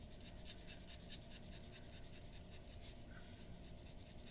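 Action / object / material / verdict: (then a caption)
scrape / paper drawing sheet under a glass dip pen nib / paper / none. A glass dip pen nib scratches quick, short strokes near the nose of a drawing on a white paper sheet resting on a wooden desk. The result is a steady, fairly even run of quiet, bright, raspy scratches over a low, soft background rumble.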